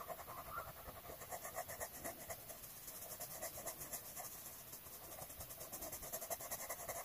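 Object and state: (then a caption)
Paper page being colored with pencil. A blue colored pencil is rubbed in circular strokes across the page of an open paper coloring book lying flat, filling in a rose. A quiet, steady train of soft scratchy strokes rises and falls about twice a second, with a bright papery hiss over a light midrange rasp.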